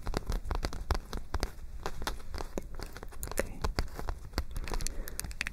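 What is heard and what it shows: A white paper spiral notebook with rolled-back pages is held in both hands while long nails tap and scratch the paper close to the microphone. It makes a steady stream of quick, dry crinkling clicks and scratchy rustles over a heavy low rumble.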